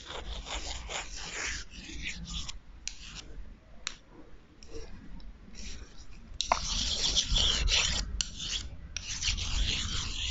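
Two long, thin, solid wooden chopsticks held in the hands are rubbed and scraped against each other close to the microphone. The result is a run of dry, raspy bursts of bright scraping with brief pauses between strokes. The strokes turn louder and denser in the second half.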